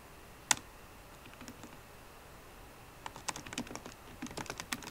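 Sparse typing with long nails and fingertips on a MacBook Pro keyboard, with plastic keycaps set in an aluminum body. One sharp, loud tap comes first, then a few faint taps, then a quicker run of crisp, bright clicks near the end. Each click is short and dry with almost no ring, over a quiet hiss.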